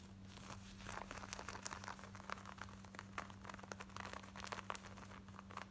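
Long nails scratch rapidly across the front and waistband of worn, light blue distressed denim shorts with ripped, frayed patches. The result is a dense run of short, dry, rasping scrapes with bright, crinkly edges over a steady low hum.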